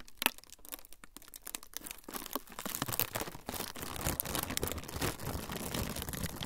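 A thin, flexible, semi-translucent frosted plastic sheet is bent and crinkled with the fingertips. Sparse, sharp crackles in the first two seconds build into a denser, louder, continuous crinkling with occasional brighter cracks.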